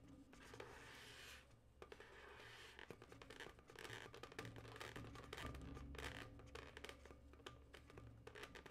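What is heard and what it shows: Long nails scratch and tap near the twist joint of a yellow twisted latex modelling balloon, hollow and air-filled. Dry, bright scratching and rubbing come in irregular bursts, with sharp short taps scattered throughout over a steady low rumble.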